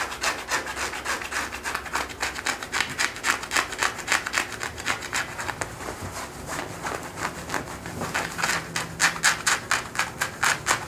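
Fingertips and short nails scratch and rub worn blue denim jeans on a person's thigh and hip, working around the thigh and back pocket. The result is a fast, fairly steady run of dry, bright scratching strokes with a rasping texture and very little low end.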